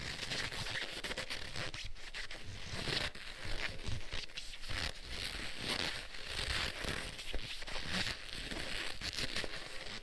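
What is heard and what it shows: Black leather gloves are worn on both hands as the gloved palms press and rub together. Continuous creaking, squeaking and crinkling friction sounds carry dense low rumble and a bright hiss, rising and falling throughout.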